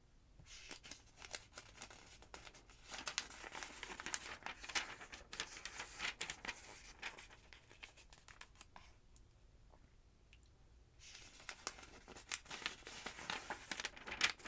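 A long-nailed hand rubs the page of a thick, open paper phonebook and then turns its thin yellow pages. Dense, bright paper rustling and crinkling fills the clip, with crisp page flicks. It drops to near-silence around the 9–11 second mark before resuming.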